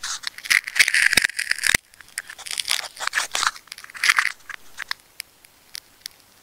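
A craft knife slices through the layered, wound blue and brown plastic tape near the core of a plastic tape ball. Dense, bright crackling and tearing cuts fill the first couple of seconds, then give way to sparser scratchy strokes and a few sharp, isolated clicks as the cutting tapers off. There is almost no low end.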